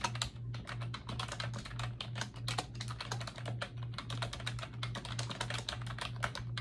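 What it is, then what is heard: Plastic computer keyboard. Fingertips with long acrylic nails type quickly on a pink plastic computer keyboard with round backlit keycaps resting on a desk. The result is a dense, uneven stream of bright, clicky taps that stop sharply. A steady low hum runs underneath throughout.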